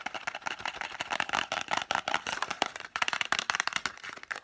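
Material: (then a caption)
Cardboard. A small, hollow green Isla Moos cardboard box holding blister-packed lozenges is held in both hands and tapped very fast with long fingernails. The result is a dense, continuous run of dry, papery clicks in the mids and highs, with no low end and no ring after each tap.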